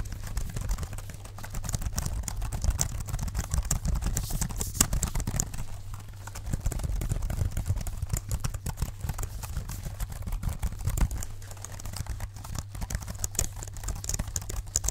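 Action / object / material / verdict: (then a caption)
tap / plastic folding keyboard / plastic / none. Fingertips in black leather gloves tap rapidly, like typing, on the keys of a small, dark, hollow plastic folding keyboard held in both hands. A dense run of short, dry clicks and soft thuds rides over a steady low hum, with the tapping swelling and easing throughout.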